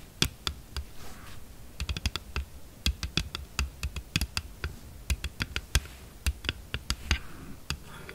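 Long acrylic nails tap and scratch across the back of a glossy red hard plastic phone case printed with "lovely," lying flat and empty on a dark table. About thirty quick, sharp clicky taps come in uneven bursts, each bright and dying almost instantly. Faint soft scratching fills the gaps between them.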